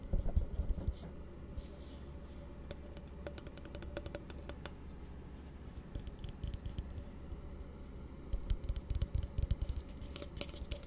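An empty, hollow blue plastic tumbler is held upside down and tapped with the fingertips of both hands. The result is a steady run of quick, dry, hollow taps with a low thumping body, busier at the start and again near the end.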